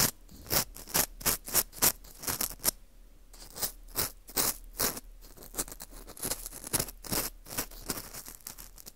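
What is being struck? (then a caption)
Dried wheat gluten ring (fu) scraped with a plastic earpick. An orange plastic earpick scrapes inside the central hole of a dry, porous wheat gluten ring (fu) held in a gloved hand. Quick, crisp scratching strokes come in a steady run with a brief pause near the middle, each a dry, bright, rasping burst with almost no low end or ring.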